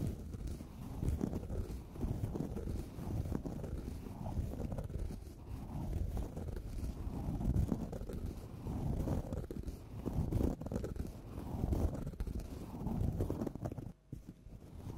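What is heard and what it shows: Long nails scratch across a flat orange felt pumpkin-shaped bag with a black felt face, lying on a table. The result is a soft, continuous, low, muffled rubbing and rustling in repeated strokes that swell and fade, with a brief drop to near quiet around 14 seconds.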